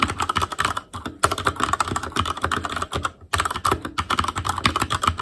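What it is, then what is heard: Plastic mechanical keyboard being typed on. Fingertips type rapidly on an Asus Claymore Core mechanical keyboard with plastic keycaps and Cherry MX Red switches. Dense bursts of sharp clacking keystrokes carry a bright plastic click centered around 1.3 kHz, with brief pauses near the one- and three-second marks.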